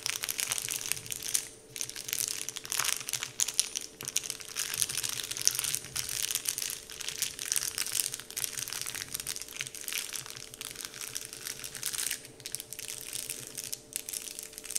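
Fingers pinch and crinkle a large, flat, heart-shaped Dove-printed paper candy wrapper sheet. The result is a dense, continuous stream of bright, crisp crinkling and rustling with almost no low end, over a faint steady hum.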